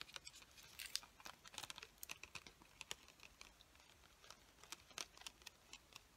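Long nails tap and scratch on a hand-sized clear plastic package full of colored pencils held in the hands. A quiet, rapid series of crisp, bright clicks and dry, crinkly scratches is heard, each one dying away almost instantly with almost no low end.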